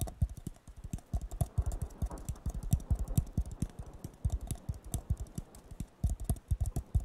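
A hollow, empty blue disposable paper cup is tapped rapidly on its bottom and side with fingertips and nails. The result is a fast, uneven patter of dull, low thumps with light clicks, each dying away almost instantly.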